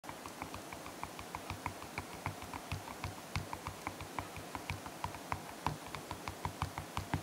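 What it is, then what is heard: Slime in a plastic jar. Fingertips press and poke the soft surface of pink and blue slime at the top of a small clear plastic jar, while the other hand steadies the jar. About 27 quick, sticky clicks and pops come at a steady pace. Each is short and crisp, with a soft low thump and a bright snap, over a faint background hiss.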